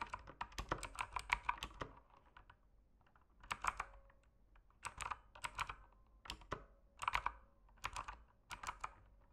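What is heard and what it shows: A full-size mechanical keyboard with plastic keycaps and an RGB backlight, sitting on a desk, is typed on rapidly with the fingertips. Quick bursts of sharp, clicky key presses and taps come with brief pauses between them. Each stroke is short and dry with a bright edge.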